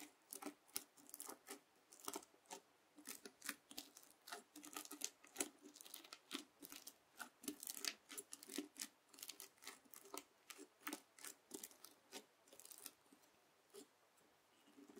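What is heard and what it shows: A white plastic fork repeatedly pokes into and drags across a flat, round red bead slime (floam) on a white table, scratching through it. The result is a steady run of crisp, crunchy crackling bursts, bright and dry with no low end, each dying away almost instantly.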